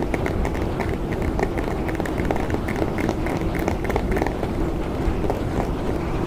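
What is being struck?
Hard plastic clamshell package.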